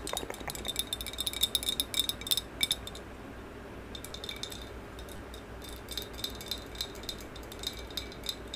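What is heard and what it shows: Long yellow acrylic nails tap rapidly on the side of a medium maroon glossy hollow ceramic vase held horizontally. The result is a quick run of bright, clinking taps with a ringing tone near 3.6 kHz that dies away almost instantly. A dense burst of taps gives way to a brief lull around the third second, then sparser taps resume.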